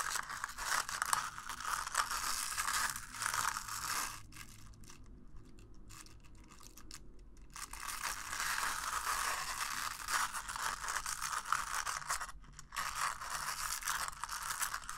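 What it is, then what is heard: Paper cup being brushed inside. The inside wall of an empty, hollow red-and-white disposable paper cup, held with its open end out, is scratched and brushed with a small black plastic bristle brush. A dense, bright, papery scratching rasps in quick, uneven strokes. It drops to a soft, quieter rustle in the middle before the brushing picks up again just as strongly.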